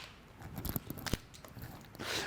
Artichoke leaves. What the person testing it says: Lo "scrocchiarello", così. Capito? Freschi! Freschi!